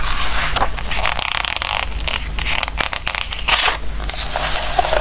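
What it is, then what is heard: Glossy paper book pages being rubbed and turned. Fingertips rub across and turn the glossy pages of a Christmas book filled with text and photos. A steady, bright papery rustle and scrape continues throughout, with a louder swish as a page turns, over a constant low hum.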